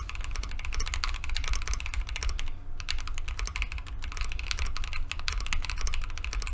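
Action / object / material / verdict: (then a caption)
tap / aluminum-cased mechanical keyboard with plastic keycaps / aluminum, plastic / none. A Keychron Q2 compact mechanical keyboard with JWK linear switches, a solid dark aluminum case and white and mint plastic keycaps, sitting on a desk mat, is typed on continuously by both hands' fingertips. Rapid, bright key-press taps clatter over a steady low hum, with a brief pause just past the midpoint before the typing resumes.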